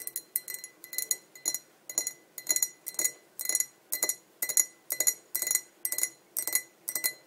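A tall, clear, hollow and empty glass pint tumbler is tapped on its sides with long nails in quick, fairly steady clicking pairs about twice a second. Each tap gives a bright, glassy clink with a short high ring and a steady tone near 2 kHz.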